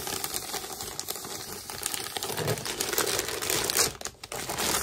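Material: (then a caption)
Plastic. A filled white plastic poly mailer with a barcode is squeezed and crinkled by hand, giving a dense, bright crackle of overlapping crinkles. The sound swells louder toward the end, dips to a brief near-quiet just after four seconds, then resumes.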